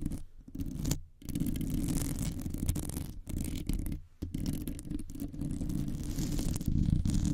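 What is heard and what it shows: Long nails scratch with both hands across the top and sides of a metal wire mesh microphone grille. The result is a dense, continuous rasping scrape, heavy and low, with a bright hiss on top and brief gaps of near silence between bursts.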